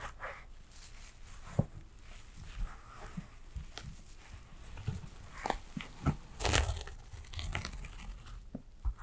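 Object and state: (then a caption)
Embroidered fabric bag. A small embroidered fabric shoulder bag with thread embroidery is scratched with long acrylic nails. The result is soft, dry scratching and rustling with scattered sharp clicks and a brief louder crinkly burst near the end. The scratching is quiet overall and mostly low in tone, with bright scratchy edges.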